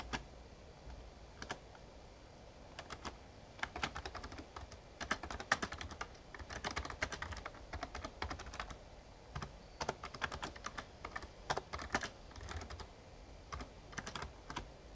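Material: Plastic.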